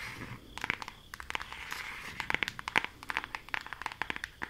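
Long acrylic nails tap and scratch a flat rectangular cardboard eyeshadow palette held in both hands, with both its front and back surfaces used. A rapid, uneven series of dry, crisp clicks and scratchy crinkles sounds bright, with almost no low end. Each tap stops instantly with no ring.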